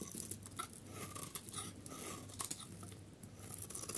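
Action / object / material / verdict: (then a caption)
scrape / bar of soap shaved with a metal blade / soap / none. A solid pale yellow dry soap bar held in the hand has its edge shaved with a metal utility blade into long curls. Soft, dry scraping and crisp little crunches repeat throughout, with bright hiss over a faint low hum.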